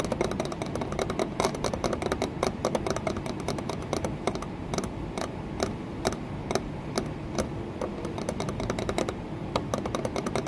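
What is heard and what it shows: Long nails tap rapidly on an embossed, green textured glass window pane set in a wooden frame. The result is a dense, irregular stream of short, bright clicks with a light ring, over a steady low background rumble.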